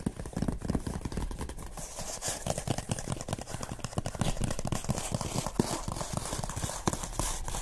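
Fingertips and medium-length painted nails tap and scratch a medium-sized, closed, hollow Nomadik corrugated cardboard subscription box resting on a wooden table. Quick, dense hollow taps with a dull low body blend with a soft, bright scratchy rustle. The sound continues steadily throughout, with each tap dying away almost instantly.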